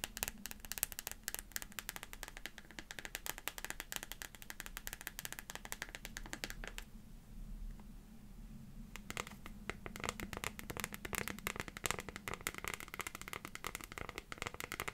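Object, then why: Transparent plastic phone case with liquid glitter. Long painted fingernails rapidly tap and scratch a transparent plastic phone case with liquid glitter inside, fitted on a phone and held in the hands. Quick, crisp clicks and scratchy ticks run almost nonstop over a faint low hum. The tapping briefly pauses into quieter scraping around the middle before picking up again.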